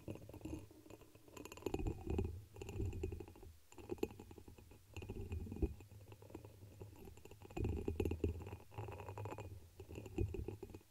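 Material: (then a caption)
Glass. A dark red embossed pressed-glass chalice, hollow, is held over the microphone and rapidly tapped with long pink nails. The taps blur into a dense, low, rumbling flutter that swells and fades in bursts, with a faint steady bright tone running underneath.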